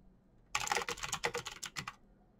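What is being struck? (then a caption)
Plastic mechanical keyboard. Both hands type quickly with their fingertips on a backlit plastic mechanical keyboard, a Razer BlackWidow with clicky green switches, pressing the keycaps. After a moment of quiet, a rapid burst of about nine sharp, bright clicks runs for roughly one and a half seconds. Each click dies away quickly, and the burst stops abruptly.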